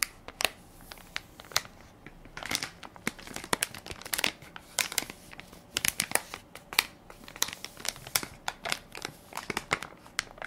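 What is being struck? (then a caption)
Plastic film baby wipes soft pack. A hand-sized Equate baby wipes soft pack made of crinkly plastic film, full of wipes and held in one palm, is pressed and crinkled by fingertips and nails. Dense, irregular bursts of sharp, bright crackling snap in clusters with almost no low end. Each crackle cuts off instantly between quieter rustles.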